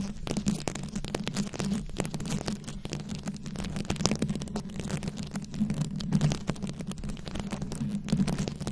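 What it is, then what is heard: Rhinestone-covered microphone scratched with nails. Very long acrylic nails of both hands scratch and tap a fist-sized round microphone head covered in glued-on plastic rhinestones and beads. The result is a dense, continuous crackle of sharp clicks and scrapes with bright edges. A steady low hum sits underneath.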